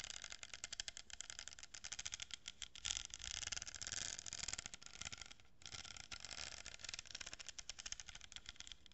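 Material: Cardboard.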